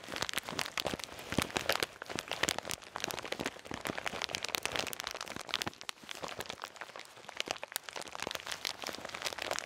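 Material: Plastic.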